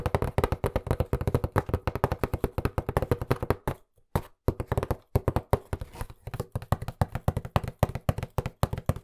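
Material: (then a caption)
Cardboard. Fingertips tap quickly across the surface of a hollow, white printed cardboard box held upright. The result is a fast, steady stream of dull, low, hollow thuds with almost no ring, broken by a brief pause around the four-second mark before the rapid tapping resumes.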